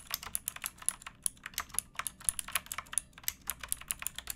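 Both hands type with fingertips and nails on a pink backlit mechanical keyboard with plastic keycaps. About 29 quick, bright, clicky keystrokes each die away almost instantly, with little low end, over a steady typing rhythm.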